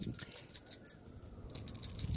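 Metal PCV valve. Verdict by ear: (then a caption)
Sound. A new replacement PCV valve for a 2014 Kia Cadenza is shaken by hand in a rattle test, giving a quick series of short, light clicking rattles. Its rattle sounds noticeably different from the worn original valve, as expected of a new part.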